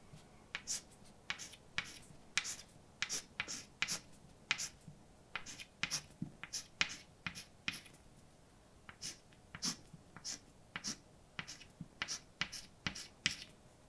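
A hand writes words with white chalk on a large, dark blackboard, scratching and tapping the solid surface. The result is a quick series of short, bright clicks and scrapes centered around 2 kHz, each dying away almost instantly, with a brief lull just past the midpoint before the writing resumes.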